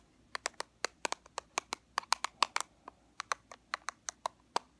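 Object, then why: Small plastic powder compact. A small black plastic powder compact, held on its edge, is tapped and scratched along its sides with fingernails. There are about 21 sharp, dry clicks in quick, irregular succession, each bright and very short with almost no ring.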